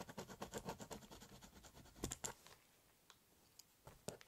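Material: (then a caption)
Cardboard. A biro tip scribbles and cross-hatches lines across the hollow surface of a large corrugated cardboard box, making a steady scratching. Quick rhythmic strokes fill the first two seconds, two louder scrapes follow, then the scratching thins out into a few sparse, brief strokes.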